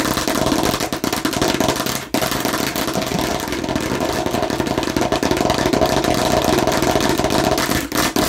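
Fingers aggressively tap and scratch on a fake plastic watermelon slice. The result is a dense, continuous, rapid clatter with a hollow mid-pitched ring, broken only by brief pauses.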